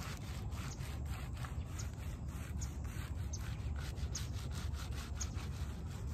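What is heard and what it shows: Fingers drag and rake through the wet pile of a small, foamy shag-pile fabric doormat, leaving streaks in it. A steady, low, rumbling scratch and rub continues throughout, with faint brighter scraping flicks as the strokes repeat.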